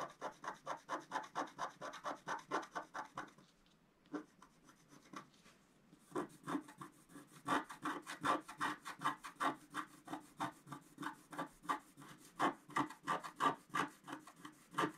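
A wooden stylus scratches a flat scratch-art sheet of black-coated paper, held down by the left hand. It makes a fast run of short, dry, rasping strokes. The strokes thin out to a few faint scrapes for a couple of seconds, then return as a steady, brisk back-and-forth scratching.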